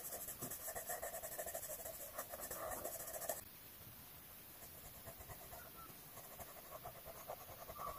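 A blue colored pencil is rubbed in circular strokes across the page of an open paper coloring book lying flat, filling in a rose. Dense, scratchy rubbing with bright, papery hiss is heard for the first few seconds, then it abruptly drops to softer, quieter strokes that continue to the end.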